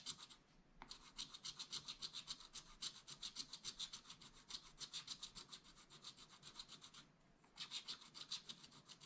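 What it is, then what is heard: Stylus scratching coated scratch-art paper. A wooden stylus scratches back and forth across a black coated scratch art paper page to fill in a mug drawing. Rapid, steady strokes make a dry, bright, hissing rasp, with brief pauses near the start and again near the end before the scratching resumes.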